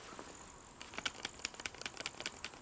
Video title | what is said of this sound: M&P 9c Revisited | I'm shaking it pretty hard to get it to rattle but it's not as tight as the 9c or the Glock 30 in that holster